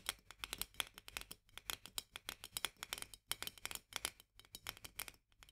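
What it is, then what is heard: Glass jar. Long nails rapidly tap the upper glass shoulder and lid edge of a full glass jar of marmalade with a paper label, held upright. About three dozen bright, crisp clicks come in quick bursts with short pauses, each dying away almost instantly. The sound is high and thin, with almost no low end.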